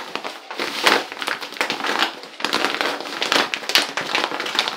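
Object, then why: Plastic pouch of Epsom salt. A medium-size, full-looking Dr Teal's resealable plastic pouch of Epsom soaking salt is held in both hands and squeezed and crinkled with the fingertips. It gives dense, bright crinkling full of sharp crackles and ticks in two bursts with a brief dip around the middle. There is no low rumble.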